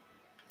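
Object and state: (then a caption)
Hard shrink-plastic charm. A hard, baked shrink-plastic charm, shaped like socks, mittens or a hat and colored with colored pencils, is dropped onto a surface. A faint tap is followed by a sharp, bright, glass-like click that dies away almost at once. The charm does not break because it is hard plastic.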